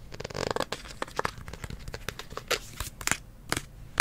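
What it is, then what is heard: Hollow plastic spray bottle. Fingertips and nails tap and scratch the label side of a hollow, medium green plastic kids' hair spray bottle with a blue nozzle, held in both hands. A dense run of dry, crinkly scratching is punctuated by sharp, bright taps that stop dead with no ring.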